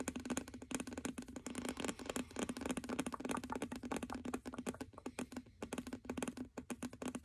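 A medium glass candle jar full of cream-colored wax, with a label on its base, is held in both hands while fingernails tap rapidly on its glass sides and base. The result is a quiet, dense run of crisp, short clicks that fade almost instantly, with a faint glassy tone near 260 Hz running beneath them.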